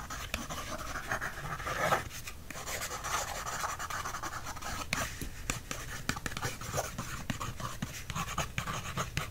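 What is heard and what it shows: The tip of a wooden stick traces and scratches across a thin paper library checkout card resting on a book. The result is a steady, dry scratching rustle, dotted with frequent small ticks and brief louder scrapes.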